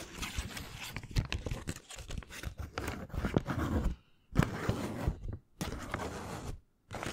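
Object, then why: Paper banknote. A single thin US dollar bill of cotton-linen paper, held in both hands, is folded, crinkled with the fingertips and snapped taut. The result is dense, close crinkling and crunching with sharp snaps. These come in bursts separated by brief silences near 4, 5.5 and 6.7 seconds.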